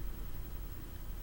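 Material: Nothing is struck.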